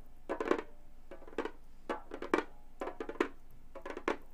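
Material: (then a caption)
Synthetic membrane. Gold metal claw nails tap rapidly on a hollow frame drum with a synthetic head. Short, dry taps come in quick clustered bursts, each with a low-mid thump and a brighter click that dies almost instantly.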